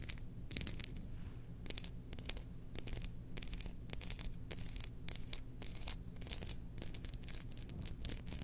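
Long nails scratch and tap a small domed glazed ceramic lid from a Death Star jar, held in one hand. Short, bright scratching bursts repeat in quick succession with little ring, over a steady low hum.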